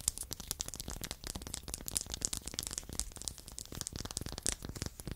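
Two identical small, solid, light wooden blocks are held in the hands and tapped and scratched along their faces and edges with long acrylic nails. The result is a rapid, dense run of short, dry clicks and scrapes with bright, high crackle. Each tap dies away almost instantly, over a faint low thud.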